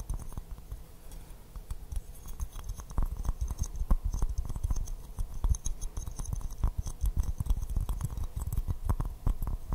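Fingernails tap rapidly and continuously on an empty white porcelain teacup with a pink rose print, held upside down in both hands. The hollow cup gives a steady patter of short, dry clicks with a dull low body and faint bright edges, each tap dying away almost instantly.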